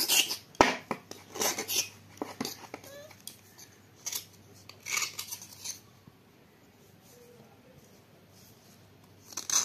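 A solid dried clay block is held in the hand and scraped with a small knife blade, with clay dust piling onto a plate. Bursts of bright, dry rasping scrape come one after another, then fall quiet for a few seconds before a final scrape at the end.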